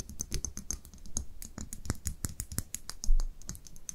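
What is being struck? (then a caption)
Small glass dropper bottle. Long nails tap and scratch a small, labeled amber-brown glass dropper bottle and its cap while it is held in the hands. The result is a quick, irregular run of light, dry clicks and taps with bright ticks over soft low thumps, each dying away almost at once, with one slightly louder knock near the end.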